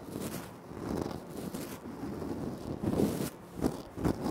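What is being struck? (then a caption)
Granite floor tile. Fingertips and short nails scratch and tap across the surface of a large, flat, solid speckled granite-like floor tile. A continuous dry, crackly scratching texture runs throughout, with sharper taps standing out toward the end.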